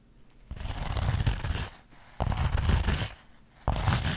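Long acrylic nails scratch the woven surface of a flat, soft, empty-looking linen or burlap fabric pouch held in both hands. Three bursts of dense, rough scratching start abruptly and fade between quiet pauses, with a heavy low rumble under a bright, airy rasp.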